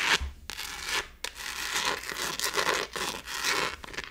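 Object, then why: Textured plastic phone case. Long nails scratch over the textured back of a gold glitter-textured plastic phone case held up close. The result is a series of dry, bright, hissing scrape strokes separated by brief pauses, with little low end.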